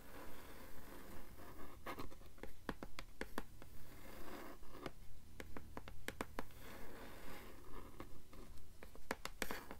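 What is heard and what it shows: Long nails tap and scratch on the blank, thick endpaper over the board inside a blue hardcover book. About 23 short, dry taps and scratchy strokes come in a steady rhythm, each dying away almost at once. They sound quiet and close over a low background hum.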